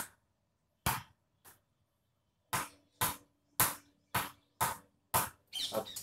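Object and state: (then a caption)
Kashmir willow cricket bat with a lively ping off a tennis ball. A tennis ball is bounced repeatedly off an SS Jost Kashmir willow cricket bat, producing sharp, bright knocks at irregular intervals with a short ring around 1 kHz, the last few coming in quick succession. The bat gives a very good ping with the tennis ball and suits tennis-ball play.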